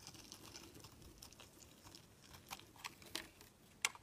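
A steel utility knife blade shaves along the edge of a solid, palm-sized white bar of soap, peeling off flaky shavings. Quiet, soft, bright scraping runs throughout, broken later by a few sharper, crisp cuts that snap through the soap.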